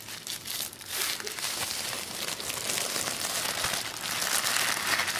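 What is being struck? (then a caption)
Thin tissue paper sheet. A crumpled sheet of black tissue paper on a wooden table is handled and rustled by fingers. It makes a steady stream of dense, bright crinkling and crackling with almost no low end, swelling slightly louder toward the end.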